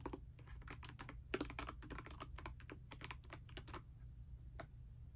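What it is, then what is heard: Mechanical keyboard with plastic keycaps. A pastel mechanical keyboard with plastic keycaps, resting on a bedspread, is typed on continuously with fingertips and long nails. Quick, dry, clicky key taps fall in an uneven run with brief pauses, over a steady low hum. A lone tap ends the clip after a short gap.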